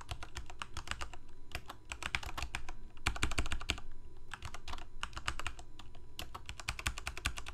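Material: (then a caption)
Plastic. Fingertips of both hands type rapidly on a full-size black plastic Corsair mechanical keyboard with lit keycaps. Dense runs of sharp, bright key clicks come with brief pauses, each press dying away almost at once, over a steady low hum that carries most of the energy.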